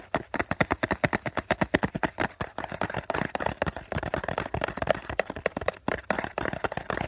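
A hollow COCON cardboard tissue box has its flat face tapped fast with the fingertips of both hands, up close. The result is a rapid, steady patter of dry, hollow knocks centred in the mids, each one short and dead with no ring.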